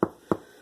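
Two thumps on a finished loaf of bread, each a short, hollow, mid-pitched knock that dies away almost at once. The hollow sound shows the loaf is fully baked.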